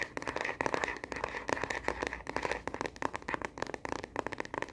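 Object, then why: Plastic phone case on a smartphone. Long fingernails tap fast and aggressively on the back of a smartphone in a translucent plastic case, held horizontally in both hands. A dense, uneven run of sharp, dry plastic clicks centers in the mid range around 900 Hz with bright edges and almost no low end. Each tap dies instantly with no ring.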